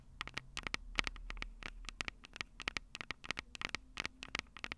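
Long purple nails tap and scratch the silver metal mic capsules of a Tascam DR-05 handheld recorder with a cable plugged in. The result is a rapid, irregular series of sharp, bright clicks and scratchy ticks that stop dead with no ring. A faint low rumble sits underneath.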